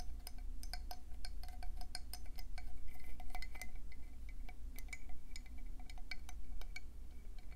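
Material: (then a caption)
Shell. Long painted nails tap quickly on the ridges and smooth inner lip of a hand-sized, hollow, speckled conch shell as it is turned in both hands. The sound is a rapid, uneven stream of bright, clicky taps with a short glassy ring, over a steady low hum.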